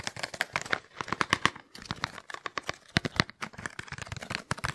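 Fingertips and nails tap and scratch quickly along the sides of a small, hollow, apparently empty white printed cardboard box held in one hand close to the mic. It makes a fast, busy run of sharp, dry, papery clicks and crinkly scrapes, with brief pauses near 1.7 and 3.3 seconds. Each hit stops almost instantly, with a light hollow body and bright edges.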